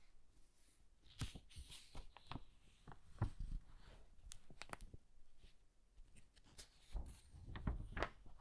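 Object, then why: Old hardcover paper book. Fingers flip single pages of an old hardcover book with yellowed pages. Each turn makes a quiet, crisp papery rustle with brief bright ticks and swishes that die away quickly, over a low, soft background.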